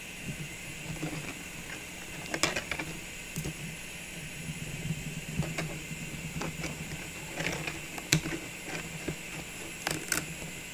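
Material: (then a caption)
Plastic. Long nails tap lightly on the rim and top of a tall, clear plastic cylindrical container filled with small Christmas ball ornaments, while the other hand holds it steady. Scattered, short, bright clicks stand out over a quiet, steady low hum. Each tap dies away almost at once.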